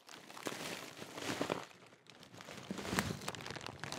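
A large Walkers crisp packet made of thin metallised plastic film is held up while fingertips crinkle and fold the bag. A continuous stream of sharp, bright crackles rises and falls, with a brief lull near the middle before the crinkling picks up again.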